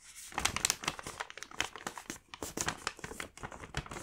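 A medium-size mint paper gift bag with a Moomin print, filled with candy packs, has its top flap folded and pressed down by fingertips. The paper creases and rubs in a dense run of short, bright crinkles and crackles that rise and fall without pause over about four seconds.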